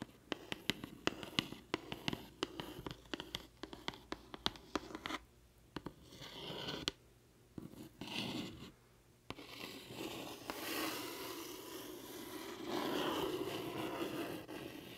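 Long painted acrylic nails tap and scratch the face of a flat, closed, hollow pink-and-white printed Tarte cardboard box with a lip-print design, held up in the air. A quick, uneven run of sharp, dry taps comes first, then turns into steady, bright, papery scratching that swells and fades over the rest of the clip.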